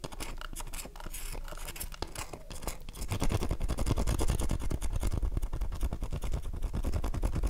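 Long nails scratch the surface of an unwrapped, palm-sized, light blue oval bar of dry soap held in one hand, flaking shavings off. A dense, rapid run of dry scratching and ticking starts soft for about three seconds, then grows louder and busier, with a full, low-weighted body for the rest of the clip.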